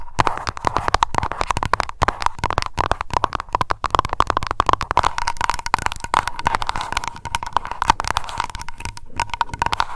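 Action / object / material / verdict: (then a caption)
tap / glass candle jar filled with wax / glass / none. Long nails tap fast on the glass bottom of a small wax-filled aroma candle jar labeled Lavender. The rapid, dense clicking has a steady ringing tone around 930 Hz, with short dips in the tapping near 2, 3.8 and 7.2 seconds.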